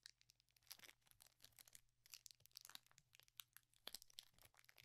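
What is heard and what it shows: Fingertips fold, crinkle and start tearing the foil of a small, sealed metallized plastic Pokemon booster pack wrapper with cards inside, held over a cloth bedspread. The result is a quiet, dense run of sharp, bright crackles and crinkles with dry snaps and no ring. A faint steady low hum sits underneath.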